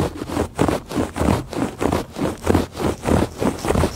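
Fingertips and nails make quick scratches across the weave of a woven fabric rug. The result is a steady run of soft, rasping strokes, each swelling and fading, with a low, muffled body and little bright edge.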